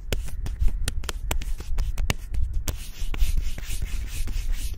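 Fingertips and nails rapidly scratch and rub the smooth bark of a slim, solid tree trunk outdoors. Sharp, dry scratching ticks come in quick succession over a steady low rumble, with brief bright rasping between them.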